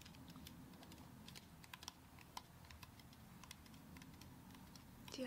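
Long acrylic nail tips repeatedly tap the side of a whole brown coconut with a fibrous shell, held in one hand. The taps are quick, dry, bright clicks with almost no ring, scattered over a steady low rumble, and a louder burst of sound comes at the very end.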